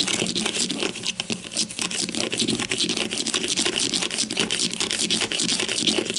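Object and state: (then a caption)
Plastic deodorant stick. Long matte mauve nails and fingertips quickly tap and scratch along the top of a grey-green plastic deodorant stick, about 15 cm long with a hollow casing and a cap, lying on its side on a white table. The result is a dense, steady stream of bright, crisp clicks and scratchy rasps with very short decays and almost no low end.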